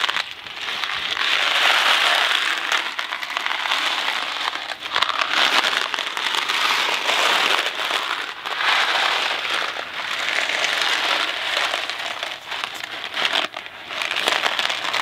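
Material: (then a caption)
Cardboard. A Kraft macaroni & cheese cardboard box full of dry pasta is shaken quickly in the hand. It makes a continuous, dense, bright rattling and rustling as the pasta tumbles inside the box, swelling and dipping with the shaking strokes and almost no low end.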